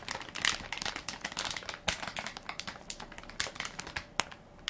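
A hand-sized Equate baby wipes soft pack made of crinkly plastic film, full of wipes and held in one palm, is pressed and crinkled by fingertips and nails. The result is a dense run of bright, crisp crackles with sharp louder snaps, mostly high in tone and with almost no low end.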